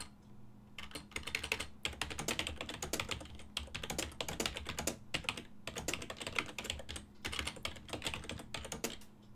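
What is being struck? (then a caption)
Plastic computer keyboard. Fingertips press the keys of a full-size black and silver plastic desktop keyboard with a hollow housing, producing rapid, bright typing taps. The taps come in continuous bursts separated by brief pauses, over a faint steady low hum.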